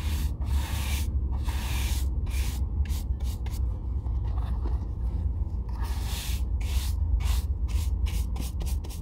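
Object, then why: Oiled leather boot brushed with a bristle shoe brush. An oiled leather Red Wing Weekender Chukka boot, held in hand, is brushed with a wooden-backed bristle shoe brush in repeated rubbing strokes. Each stroke gives a bright, airy swish over a steady low hum.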